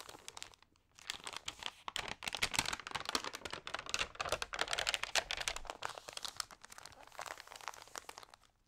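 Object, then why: Glossy paper magazine. Fingertips with long nails turn the pages of a thin, water-sprayed glossy food magazine and rub them flat, crinkling the paper. After a brief quiet start, a dense stream of crisp, bright crackles and rustles builds, then thins out toward the end.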